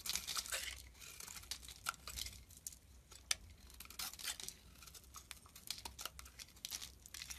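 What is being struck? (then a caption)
Glycerin soap bar. A flat metal blade scrapes and shaves curls from the edges of a translucent brown, palm-sized solid glycerin soap bar held in one hand, with the shavings piling up beside it. The result is a run of bright, crisp, crackly scraping strokes with sharp peaks over a faint low hum.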